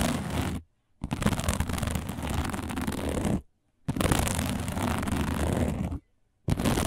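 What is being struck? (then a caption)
Woven plastic placemat. Long nails scratch fast across a round, flat, dark woven plastic placemat, making a dense, gritty scratching with a low rumbling body. The scratching comes in four bursts separated by brief silences.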